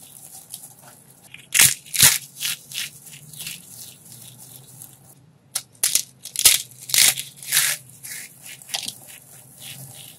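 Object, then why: Pile of starch-coated soap pieces. A large heap of brittle pink and dark starch-coated soap shards is grabbed, squeezed and crumbled by bare hands with painted nails. The decorative soap flowers around the pile are left untouched. Each squeeze gives a short, bright, dry crunch with a crackly fringe, falling silent quickly, in two uneven bursts of handfuls separated by a brief pause.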